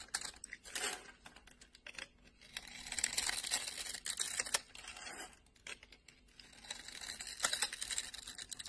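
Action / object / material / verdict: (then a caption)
scrape / bar of soap cut with a metal blade / soap / none. A solid orange bar of soap held in the hand is carved into small cubes with a metal blade and scraped off. Dense, bright crisp scraping and crackling comes in uneven bursts, with sharp clicks and quick crumbly cuts. The sound is thin and high with almost no low end, and it swells louder in stretches of steady scraping.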